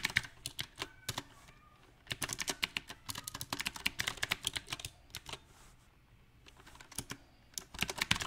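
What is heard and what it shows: Both hands type with their fingertips on a compact backlit Magicforce 68 mechanical keyboard, which has round black plastic typewriter-style keycaps set in silver rings on a light metal/plastic case. Rapid, bright key taps and clicks come in uneven bursts, separated by short quiet pauses.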